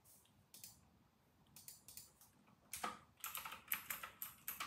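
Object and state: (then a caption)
Plastic mechanical keyboard. Fingertips of both hands type steadily on an RK960 full-size white mechanical keyboard with round retro plastic keycaps. Crisp, bright plastic key clicks arrive in an uneven rhythm with short, quick-decaying ticks. The typing starts sparse and soft, then becomes louder and denser in the second half.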